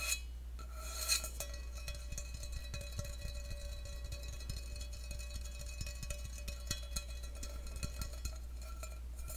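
An empty stainless steel tumbler is held over the microphone while fingertips and nails tap its side. The taps give rapid, light metallic clicks with a short, bright ring over a steady low hum.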